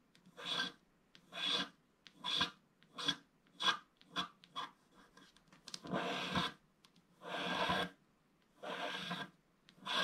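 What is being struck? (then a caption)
Wax-coated scratch-art card scratched with a wooden stick. A wooden stick scratches the black wax coating of a thin, flat scratch-art picture card lying on a table, working over the waves at the bottom right. Eleven separate bright, raspy scraping strokes are heard, some quick and some drawn out, with a hiss concentrated in the upper range and almost no low end.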